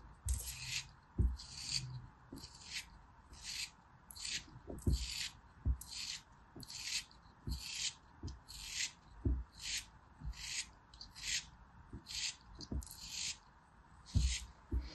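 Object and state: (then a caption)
Kinetic sand block being carved. A small, solid block of packed beige kinetic sand is held in the fingers and carved and scraped with a metal craft knife blade as crumbs fall off. About seventeen short, bright, gritty scraping strokes repeat at a steady rhythm, with soft low taps and quiet pauses between them.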